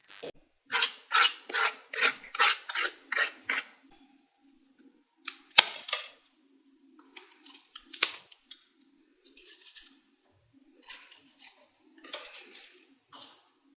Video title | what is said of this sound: Authentic Sindhi Dal Pakwan Recipe - Dal Pakwan - घर पर इस तरह बनाएं स्वादिष्ट दाल पकवान | यह जो पकवान बने हैं वह कितने कुरकुरे बने हैं और उसे आप आवाज से पता लगा ले सकते हैं